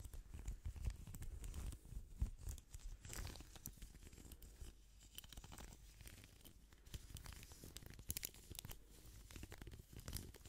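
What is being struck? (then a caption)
Plastic hairbrush. Gloved fingertips quickly scratch and strum the bristles of a hand-sized pink plastic hairbrush in front of the microphone. The result is a quiet, dense stream of rapid crackling, tearing-like scrapes and bright ticks over a low rumble, with short bursts rising and falling throughout.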